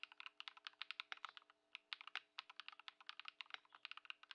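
Continuous two-handed fingertip typing on a compact Ducky One 2 SF mechanical keyboard, modded with Lumia Matcha switches and Poron foam, with white plastic keycaps, resting on a wooden desk. Quick, bright, tightly damped clacks come in a steady stream with almost no low end and a short pause near the middle. A faint steady low hum sits underneath.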